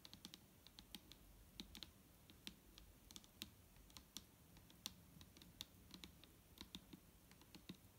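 Fingertips and long nails tap on the top of a large, clear plastic micellar water bottle that is full of liquid and lying flat. The result is a quiet, rapid, irregular stream of short, bright clicks over a soft, low body. Each tap dies away almost instantly.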